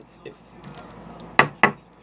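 Two taps on the flat plastic of a model car body give sharp, bright clicks that ring briefly with a metallic-sounding tone, even though the body is plastic. The two hits stand clearly apart over quiet background noise.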